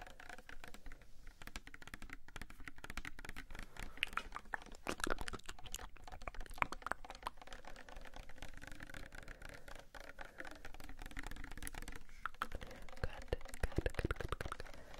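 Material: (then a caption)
Plastic. Fingernails tap rapidly on a small pink Sagrotan plastic hand soap bottle that appears filled. The taps come in a steady, dense patter of quick, dry plastic clicks with almost no ring, sounding much like typing on a keyboard.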